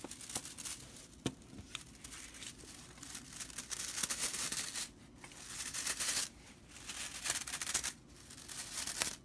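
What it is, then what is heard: Straw whisk broom bristles. Long purple nails scratch and flick the dry straw bristle edge of a broomcorn straw whisk broom. The result is a dry, bright, crackling rattle of fibers: irregular bursts of brittle scratching and tearing-like swishes with sharp snaps, broken by brief quieter pauses.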